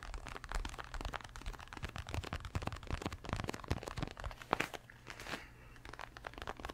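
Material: Leather.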